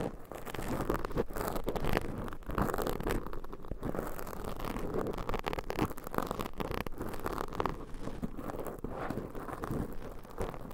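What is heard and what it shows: Long pointed nail tips scratch two soft black foam microphone covers. The result is a steady, dense, muffled scratching and crackling, heavy in the lows with almost no bright top. It stays close and even for the whole clip.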